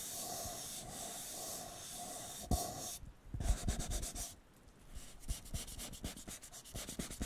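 A hollow, empty blue disposable paper cup has its bottom scratched and tapped with fingertips, then is turned upright. A steady dry scratching hiss runs for about three seconds and is broken by one sharp tap. It gives way to quick, irregular bursts of bright scratching and light papery taps, with a short lull midway.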